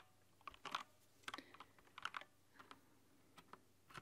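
Long nails and fingertips type on a rainbow-backlit plastic mechanical keyboard with translucent plastic keycaps. Quiet, bright clacks come in short irregular clusters, each ringing for only a moment before fading back into faint background hiss.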